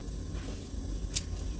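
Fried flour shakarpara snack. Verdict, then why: Crisp. A fried sweet shakarpara, a date and sugar flour snack, is snapped in half, giving a single sharp, brief crunch near the end over a low background rumble. The crisp crack shows the snack is properly fried and crisp.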